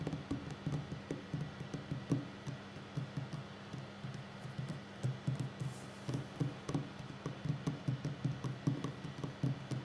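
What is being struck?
Wooden tabletop.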